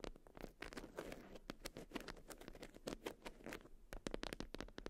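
Long acrylic nails scratch and tap a watermelon-print beeswax wrap (wax-coated cotton) bundled up. The result is a quiet, rapid patter of soft, crinkly scratches broken by sharp, dry taps that click out brightly and die away almost at once.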